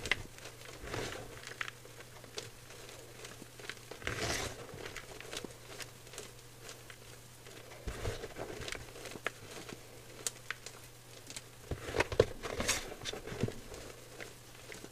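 Dry white gym chalk powder (magnesium carbonate) in a clear bowl is crumbled and squeezed by fingers. It makes soft, dry crunching and crinkling with scattered brighter bursts over a faint, steady low hum. Each crunch stops short with no ring.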